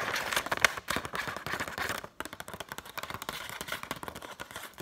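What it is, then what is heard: Paper banknote. A single thin, flexible Egyptian paper banknote, held up in both hands above loose banknotes on a table, is scratched and crinkled with long painted nails. Quick, irregular, crisp crackles and dry scratches run bright and papery with almost no low end, pausing briefly near the two-second mark before continuing a little softer.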